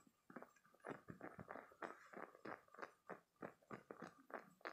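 A green spiky silicone toy is held in both hands, squeezed and scratched with fingertips and short painted nails. It makes a quiet, rapid, uneven series of squishy, scratchy bursts, about three per second, centered in the mid-range with faint bright edges and very short decays.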